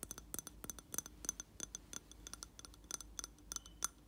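A hand taps the glass wall of a round glass jar filled with wax and holding a lit candle, using fingertips and nails. The result is a quick run of light, dry clicks with short bright glassy pings that die away almost at once.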